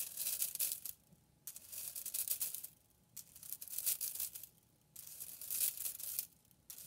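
A hand with long painted nails flicks and bends a large hand-held bundle of thin hollow white, purple and pink plastic drinking straws, so they snap back and clack together. The sound is a bright, dense, crackly clatter that comes in bursts separated by short silences.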